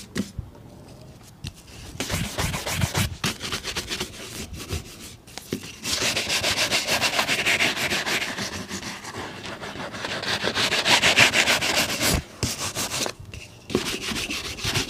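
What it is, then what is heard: Leather boot being brushed. A polished brown leather boot, worn on a foot, is brushed vigorously with a wooden bristle shoe brush in fast strokes. The sound is a rapid, bright, scratchy swish of bristles rubbing leather, with strokes running together in quick rhythmic bursts. It gets louder and denser partway through, with a couple of brief pauses near the end.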